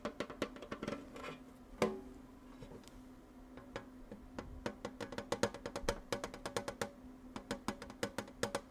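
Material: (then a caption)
Metal. A small Wicked-themed metal tin with munchkins on it is tapped in a steady, fast run of light, clicky taps. Each tap gives a short, hollow metallic ping with a faint mid-pitched ring that dies away quickly, and one tap near the start is noticeably louder than the rest.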